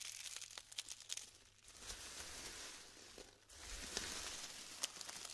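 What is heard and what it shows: Hands press into clumps of glued styrofoam balls on a tray and crumble them apart. Dense, bright crinkling and crackling rustle continuously, with a few sharp snaps and pops standing out, and a brief lull just before the crumbling picks up again.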